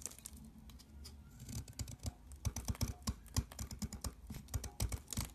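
A box cutter scrapes flakes off the edge of a mint-green soap bar, making crumbly shavings. A quick run of soft, crunchy scrapes and crackles is heard, with dull low thumps under bright crisp ticks, growing denser and louder partway through.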